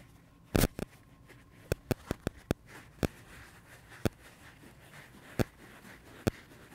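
A dry pink porous foam sponge is held in the hands while fingertips and nails scratch and rub its surface. Eleven short, dry scratching clicks stand out at uneven intervals over a faint, steady background hiss.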